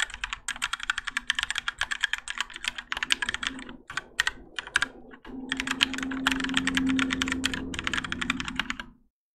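Both hands type continuously with their fingertips on a Keychron K4 compact mechanical keyboard with Gateron Yellow switches, grey and orange ABS plastic keycaps, and a plastic and metal case, resting on a desk mat. Rapid, bright, clacky keystrokes patter with very short decay over a faint low hum, with brief pauses near 4 and 5 seconds. The typing stops just before the end.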